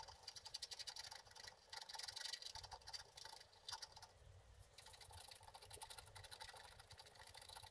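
A wooden stick scratches the wax coating off a flat scratch art card to reveal a figure. Quick, dense, bright scraping strokes come in bursts with short pauses, and faint low rumble sits underneath.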